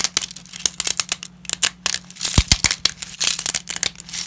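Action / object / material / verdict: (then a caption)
scrape / dry wheat lasagna sheets / dry pasta / none. Black-gloved fingers snap, crumble and rummage through a pile of broken, solid and brittle dry wheat lasagna sheets. A rapid run of short, bright, dry cracks and crinkles is heard, with a few sharper snaps and possibly faint glove rubbing, over a faint steady low hum. The pieces break into smaller fragments.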